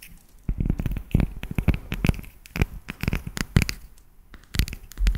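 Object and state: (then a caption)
Dark chocolate bar. A solid, segmented dark chocolate bar held close to the microphone is tapped with long nails. The result is quick, irregular bursts of short, dry clicks with a deep, thumpy low end, separated by brief quiet pauses.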